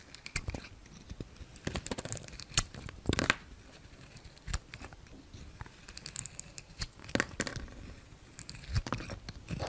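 A solid Palmolive bar soap with a gold coating, held in the hand, has thin pink curls sliced off its surface with a yellow utility knife. Each pass makes a short, dry, crisp scraping crackle with bright edges. Irregular cuts follow one another over a soft, low background.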